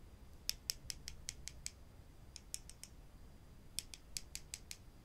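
Two small, solid wooden spring clothespins are held in the hands, knocked together and squeezed open so the springs squeak, while other pins rest on a wooden table. Seventeen short, bright, dry clicks come in three bursts of seven, four and six, each dying away almost instantly over a low, quiet rumble.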